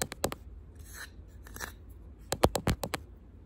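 A wooden box is tapped with the fingernails, giving short, sharp clicking taps with a dull low knock beneath them. A quick burst of taps opens the clip, softer scratchy brushing follows in the middle, and a louder run of taps closes it. Each tap dies away almost instantly.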